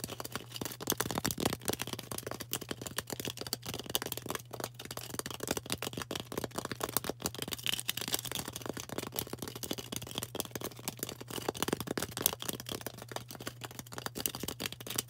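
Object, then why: Floral foam block tapped and scratched with fingernails. A solid, rectangular green floral foam brick is held in the hand and tapped and scratched with long orange acrylic nails. The result is a dense, continuous stream of quick, dry, bright scratchy clicks and taps with almost no ring, over a steady low hum.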